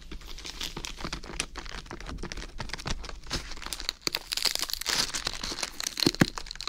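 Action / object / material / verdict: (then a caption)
scrape / fresh iceberg lettuce head / lettuce leaves / none. A whole fresh iceberg lettuce head is held in both hands while fingers rub and squeeze its outer leaves close to the microphone. Dense, crisp crinkling and crackling fills the clip, mostly in the high frequencies, with a few louder sharp snaps near the end.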